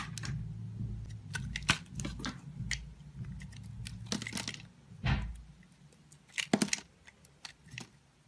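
A solid oval green soap bar, held in the hand with pink long nails touching it, is scraped and carved with a metal utility blade, dropping green shavings onto a cloth. Quiet, dry scraping runs under a low hum, with short, bright cuts and crackles standing out, the sharpest near the middle and toward the end.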